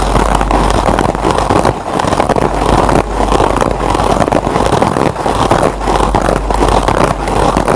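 Fingertips scratch the surface of a single kitchen scrub sponge, a green nylon scour pad on yellow foam. The result is a dense, continuous scratchy rustle centered in the low-mid range, holding a steady level with brief dips along the way.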